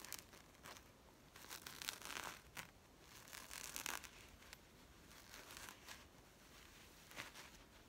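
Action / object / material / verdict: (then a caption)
scrape / woven-fabric zip coin purse / woven fabric / none. Long nails scratch and tap the surface of a small, flat, woven-fabric zip coin purse with a carpet pattern. The result is quiet, bright, scratchy rasps and soft taps in irregular bursts over a faint hiss, with almost no low end.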